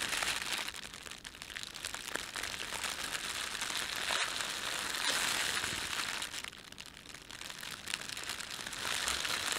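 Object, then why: Thin plastic bread bag. Fingertips rub and crumple the film of a thin, red, printed plastic bread bag that is empty. The result is a steady, bright crinkling and crackling with almost no low end, easing briefly in the middle before building back up.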